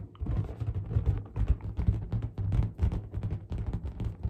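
Long black nails tap and scratch the rubber surface of a large, hollow, inflated pink latex balloon held close up. The result is a quick run of soft, dull, low thumps, each dying almost instantly, with faint rubbery scratching between them.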